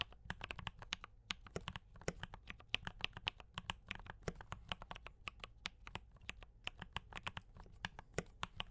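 Fingertips of both hands type steadily on a D84 mechanical keyboard with brown switches and cream and red plastic keycaps. A continuous run of quick, crisp keystrokes gives bright, short clacks with almost no ring, over a faint steady low hum.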